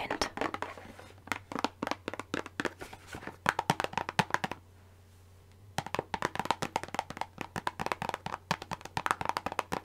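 Long pink nails tap and scratch the faces of a small, printed Revlon Colorsilk hair dye box made of thin cardboard, held in the hand and likely full. Quick, dry, papery clicks come in dense bursts with light scratching between them. They stop for about a second midway before resuming, over a faint low hum.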